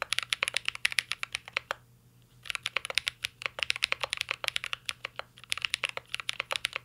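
A mint-green Cyberboard R3 mechanical keyboard with a metal case and plastic keycaps is typed on continuously with the fingertips. Rapid, bright, crisp clicks with almost no ring follow one another, pausing briefly near the two-second mark before the typing resumes at a steady pace.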